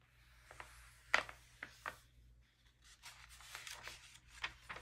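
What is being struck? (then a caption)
Glossy paper magazine. Thin glossy pages of an open magazine are rubbed with the palm and fingertips and turned one after another. Soft brushing sweeps and sharp paper flicks sound close and quiet over a steady low hum, with the crisp rustle sitting bright and high in the range.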